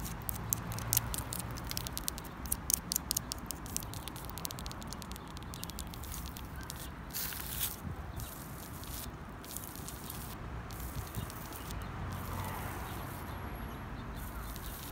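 Long pink acrylic nails and fingertips tap and scratch the rough, flaky bark of a large, solid living tree trunk outdoors. Quick, irregular, bright clicks and scratches rise from the first seconds over a steady low outdoor rumble, with a brief rasping scrape near the middle. The tapping then thins into softer, sparser scratches toward the end.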